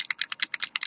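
An alcohol ink mixative bottle is shaken to mix it, because without shaking the contents settle out. The loose mixing ball inside rattles in a quick, steady series of sharp, bright clicks that stop dead, with almost nothing in the low end.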